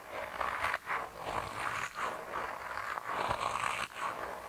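A hand-sized grey soft rubber mouse toy, solid and flexible, is squeezed and bent with thumbs and fingertips. It gives continuous rubbery squelching and creaking around a mid pitch near 1 kHz, with a few brief dips between squeezes.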